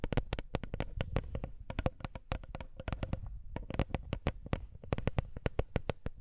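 A small, flat, woven wooden lattice coaster is tapped with long nails, then touched with fingertips close to the camera. A rapid, uneven run of short, dry clicks follows, each with a bright snap and a soft low thump that dies away almost at once.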